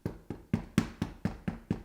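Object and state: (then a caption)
Hollow-sounding baked bread loaf, done. A baked bread loaf is knocked eight times in quick, even succession, each knock a short, hollow thud centered low around 200 Hz with almost no ring. The loaf sounds hollow and is judged done.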